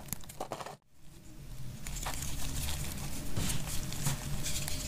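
A solid, rectangular, tan-brown bar of dry laundry soap is held in the hand and scraped with a utility knife blade, breaking off chunky, crumbly pieces. Dry crinkly scrapes and crunches repeat unevenly, pause briefly near the start, then continue as a steady gritty rasp with a low rumble underneath.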